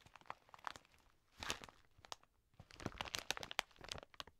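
A large, full plastic bag of dry green lentils is held in both hands, squeezed, and scratched with long nails. It gives quiet, dry crinkling and crunching in quick, irregular bursts with sharp, bright ticks. There are pauses between the bursts.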